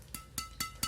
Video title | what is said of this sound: Senar Raket Badminton Yonex BG 66 ULTIMAX VS EXBOLT 63, ini bedanya!!! Kalian pilih mana??? | suaranya nyaring hanya kayaknya ya apa ya jadi e suaranya itu e enggak panjang gitu